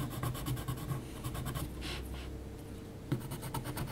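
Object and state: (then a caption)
Graphite pencil drawing on heavy paper. Fingers hold a yellow HB graphite pencil and make short scratching hatch strokes on a flat, thick, heavy paper sheet bearing a pencil portrait. Quick, rhythmic, dry scratches with bright papery edges sound over a low, soft body. A quieter, smoother stretch in the middle gives way to a sharper stroke before the hatching resumes.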